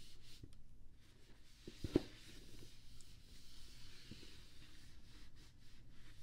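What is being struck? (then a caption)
Lidded rigid cardboard box. A hand rubs a kabuki makeup brush in strokes over the lid of a closed, hollow pink rigid cardboard GlossyBox gift box resting on a blanket. The sound is a quiet, steady, low-heavy brushing hiss, with one brief sharper tap near the two-second mark before the soft strokes continue.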